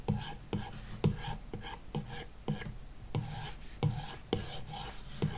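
A plastic stylus tip is dragged across the glass touchscreen of an iPad lying flat on a wooden desk, its screen likely covered by a matte paper-like protector. Eleven short shading strokes give a dry, rasping scratch, each with a low thump at its start and a bright, papery hiss.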